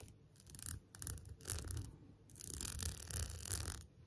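Long nails tap and scratch the back and rhinestone edges of an empty, transparent plastic phone case. Short bursts of quiet, bright scratchy rasping come first, then a longer continuous scratch, all over a soft low rumble.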